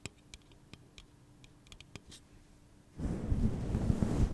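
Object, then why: Aluminum drink can. Fingernails tap and scratch the body of a hollow pink aluminum soda can held in the hand, giving a series of light, quick clicks with a faint low hum. At about three seconds the sound shifts to a louder, continuous rough scratching that lasts to the end.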